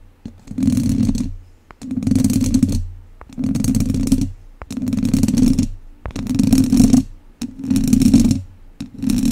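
Two wooden chopsticks scratch a hollow, domed wire-mesh microphone grille from both sides, producing seven rough scraping bursts separated by short pauses. Each burst has a close, heavy low rumble with a steady mid-low band and a bright, gritty hiss on top.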